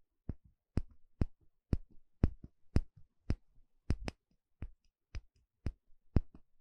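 A thin plastic pick pokes and scratches the inner surface of a small, shallow, empty bamboo bowl held in one hand. It makes 13 short, dry taps, each with a bright click on top of a dull, low body and a brief scratchy tail. The taps come at about two per second in a slightly uneven rhythm, with quiet gaps between them.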